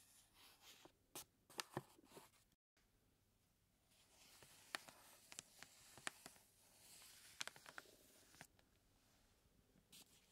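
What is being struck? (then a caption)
Paper bag of flour. A large, full paper bag of flour is held in the hands while fingertips rub and scratch its paper surface and the bag is turned. The result is a quiet, bright, dry crinkling hiss dotted with a series of short, sharp scratchy ticks, with a brief moment of total silence early on.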